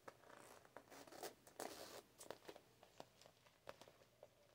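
Long nails scratch and tap a soft, hollow, medium zippered cosmetic bag made of glossy holographic PVC with a metal logo plate. Quiet, irregular crinkly scratching is broken by sharp, brief taps with a bright, dry edge and very little ring.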